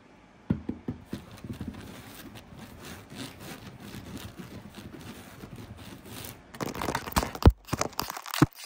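Fingernails scratch and pinch at a flat, coarsely woven blue fabric placemat. A few soft taps give way to steady, dry scratching across the weave, with low rustle and faint high hiss. Near the end, louder, rougher scrapes break in with a couple of sharp snaps.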